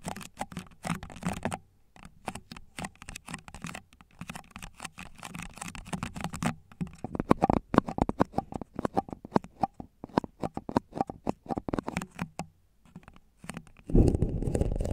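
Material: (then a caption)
Plastic. Fingertips and short nails of both hands rapidly tap the hollow base of a single empty red plastic party cup with a white interior, held upside down over the microphone. Quick, dull, hollow patters come in bursts separated by brief pauses, with little ring after each tap. Near the end, the sound turns into a louder, continuous, dense rumble.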